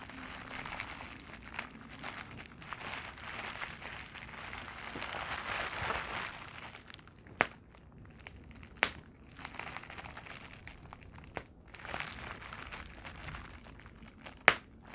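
A large clear plastic bubble wrap sheet with air-filled bubbles, lying on a blanket, is scratched and squeezed with fingers and long nails, giving a steady bright crinkling and crackling for about seven seconds. Then the rustling quiets as bubbles are pinched and popped, and a few sharp, short pops stand out over softer crinkles.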